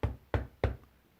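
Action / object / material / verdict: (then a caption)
knock / wooden desk / wood / none. A desk is knocked three times, evenly spaced, to show that sound comes from an object vibrating as the desk shakes from the force of each knock. Each knock is a dull, low, thudding hit that dies away quickly.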